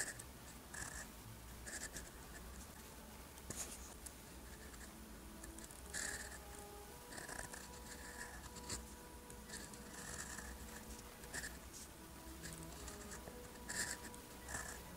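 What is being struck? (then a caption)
Paper sheet written on with a steel-nib pen. A steel-nib fountain pen held in the fingers scratches across a thin, solid, lined white paper sheet lying flat as it writes Korean characters in blue ink. Quiet, bright, scratchy strokes come in short bursts over a steady low hum, with faint tones between 500 Hz and 1 kHz.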